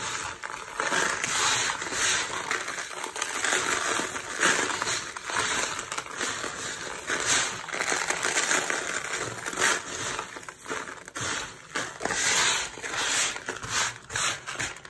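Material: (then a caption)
Soap. A heap of dry green soap shavings on a purple surface is pressed, rubbed and crushed flat with the palms and fingertips of both hands. Dense, bright crunching and crackling crumbles on steadily, with brief louder bursts as the flakes break apart.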